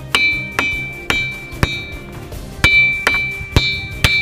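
Eight separate strikes on ringing igneous boulders at Maremma Gudem, Nalgonda, played like a lithophone, each give a bright, bell-like ring with a clear tone near 2.3 kHz that fades within a fraction of a second. These are sonorous rocks ringing as they naturally do, a musical quality attributed to their high iron and aluminium content.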